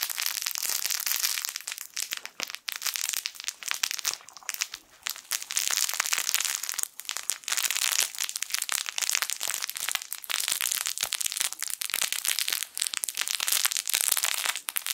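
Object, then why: Soft fabric toy with crinkle lining. A small, soft, yellow sun-shaped plush fabric toy with a crinkle lining is squeezed and rubbed with the fingertips. It makes a dense, continuous crinkling that is bright and high with almost no low end, swelling and easing in bursts with brief dips between handlings.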